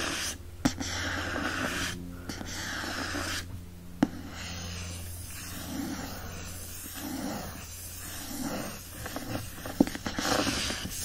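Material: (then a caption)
Paper board. Fingertips and nails scratch the printed surface and barcode area on the back cover of a hardcover book with a printed paper-covered board cover, held in hand. A steady dry scratching and rubbing hiss runs throughout over a low background hum, broken by a few sharp, brief clicks.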